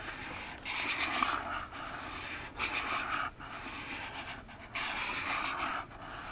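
Long nails slowly scratch down the front face of a small, hollow orange cardboard box standing upright on a table. The strokes make a dry, papery, hissing rasp that is bright and fairly even. They come in separate drawn-out passes with quieter gaps between them.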